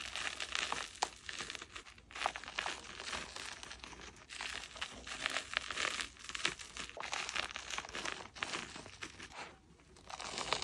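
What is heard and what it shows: Gloved or chalk-covered hands grip and crush a crumbly dome of packed powdered chalk, breaking off powder and chunks. A steady run of dry, bright crunching and crinkling fills the clip, with sharper cracks rising now and then over a soft dusty hiss.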